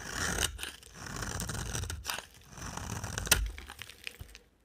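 A utility knife blade cuts ridges into a solid dry orange-brown amber bar of soap and scrapes across it. The strokes make a series of crunchy, tearing scrapes that swell and fade, with broad noise running from low thuds up to bright, crisp edges and a few sharper snaps.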